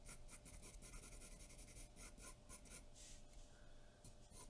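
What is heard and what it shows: A graphite pencil is stroked repeatedly across a large white sheet of drawing paper taped flat on a dark board, shading with a scratching, rubbing action. The quiet, continuous rasping comes in short bright bursts with each stroke, over a steady low hum.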